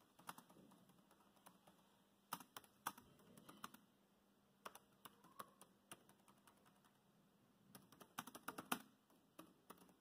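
Fast fingertip typing on a dark grey plastic laptop keyboard produces many quick, bright plastic key taps in uneven bursts. The clicks are short and quiet, with brief pauses between flurries and a faint low hum beneath.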